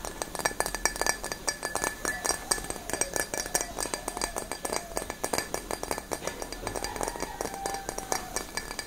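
A clear, empty stemmed wine glass held in both hands is tapped and scratched with long nails. It gives a rapid, steady run of short, bright glassy clinks with brief ringing, mixed with faint scratching.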